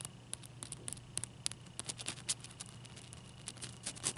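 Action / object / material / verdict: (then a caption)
tap / large ice cube / ice / none. Fingernails tap quickly on a large, clear, solid ice cube held in both hands. The result is a fast, uneven run of sharp, bright clicks with almost no ring, heard quietly over a steady low hum and a faint constant tone.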